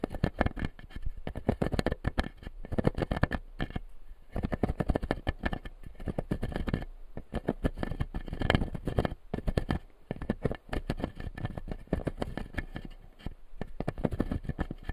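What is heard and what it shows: Fingertips and nails tap and scratch the plastic teeth of a clear acrylic lower-jaw dental model resting on a light panel. A dense, continuous run of quick, dry taps and scrapes is heard, with brief pauses and mostly low-pitched body.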